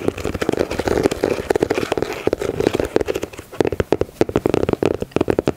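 Long nails tap and scratch the grey ribbed rubber/TPU midsole and patterned outsole of a knit Yeezy 350 sneaker. A rapid, uneven run of short, dry clicks mixes with soft scraping, centered around 400 Hz with almost no ring. The sound is busy and steady in the first half, then turns into sharper, more spaced-out taps.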